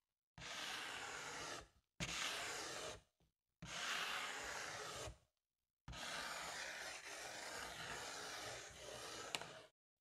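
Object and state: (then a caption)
Foil balloon brushed and scratched. A pink makeup brush, then a spoolie, brushes and scratches the surface of a large, inflated silver foil (mylar) balloon. Four separate passes of dry, bright, hissing rasp are heard, the last one longest. Each stops cleanly into silence.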